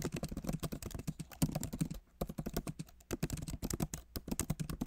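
Fingertips of both hands type steadily on a solid, backlit MacBook Pro keyboard with plastic keys set in an aluminum body. The result is a rapid stream of short, soft, low-weighted key clicks with little ring, broken by brief pauses near two and three and a half seconds.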